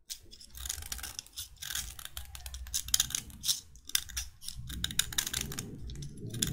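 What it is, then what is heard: Chalk stick being scraped. A metal utility knife blade scrapes along the length of a solid white chalk stick with a flattened face. Quick, dry, bright scraping strokes follow one another in rasping bursts, with a soft low rumble underneath that grows toward the end.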